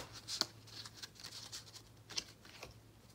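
A small, solid deck of paper playing cards, held in both hands over a dark cloth, is split and riffle-shuffled with the fingertips. It makes a quiet, bright, papery flutter with a few sharper card snaps standing out. The sound is dry and short-lived, with almost no low end.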